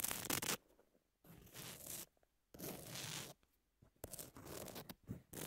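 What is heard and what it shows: Long nail tips scratch across the grit of a long, thin, flat, solid emery nail file with a pink edge and tap against it. Bursts of bright, rough, raspy scraping alternate with near-silent pauses. Short sharp taps appear toward the end.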